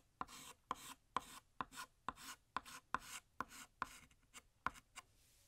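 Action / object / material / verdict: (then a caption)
scrape / chalk stick on a chalkboard / chalk / none. A stick of blue chalk held in the fingers draws a balloon string down a large, solid, flat black chalkboard in a series of scraping strokes. Each stroke begins with a sharp tick as the chalk meets the board, followed by a short, bright, gritty rasp. The strokes repeat at a steady, quiet pace, and the clip ends with a faint hiss.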